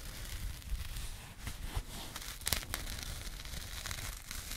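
Long painted nails scratch a small burlap jute pouch held close to the microphone. The result is a steady, dry, rough scratching with crinkly, crackling texture, a heavy low rumble from the handling, and a few sharper bright scrapes standing out.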